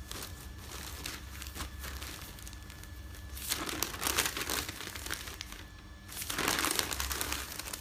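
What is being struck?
Folded newsprint pages.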